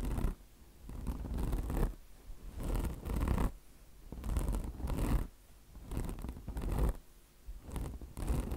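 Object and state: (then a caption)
Mesh-covered car wash sponge being scratched. Long blue nails scratch back and forth across the coarse mesh top of a mesh-covered microfiber car wash sponge. The result is a steady series of rough, rasping scratch strokes that swell and fade in a loose rhythm, dense and rumbling in the low end with brighter scraping edges at each stroke.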